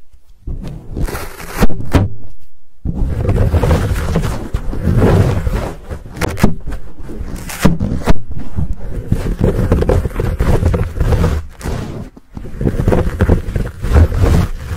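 Hands grip a fuzzy black foam windscreen on a Blue Yeti microphone while fingertips scratch and rub it. The result is close, muffled scraping and rustling, almost all deep low rumble, with sharper scratchy bursts. It runs nearly continuously, broken by a few brief silent gaps.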